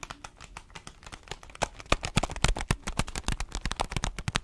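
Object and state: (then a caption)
Coffee bean bag. An orange paper-foil coffee bean bag with a black band is held horizontally in both hands while fingertips and long nails tap and squeeze it, rattling the beans inside. The result is a dense, irregular run of short, sharp crinkles, taps and rattles with bright crackle over a low thump, growing busier and louder partway through.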